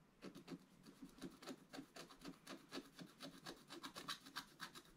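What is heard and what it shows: A wooden stylus scratches the coating of a flat, black-coated scratch art card in about twenty quick, repeated strokes. Each stroke gives a short, dry rasp with a bright edge over a soft lower scrape, and the strokes fall at a steady but slightly uneven pace.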